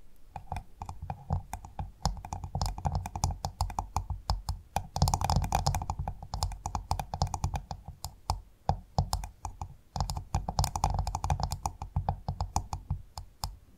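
A pearl-bearing clam's hard shell is tapped with fingers or nails. The result is dense, rapid clicky tapping with a low, thumpy body and a ring around 700–800 Hz. There are many short bursts and busier stretches around 5 and 11 seconds.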